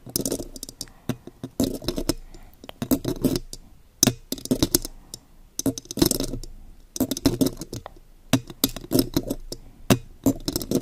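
Long gold claw nail extensions tap and scratch the silver metal mesh grille of a condenser microphone. The result is irregular bursts of sharp, dry clicks and scratchy rasps, each dying away almost instantly, with brief pauses between clusters.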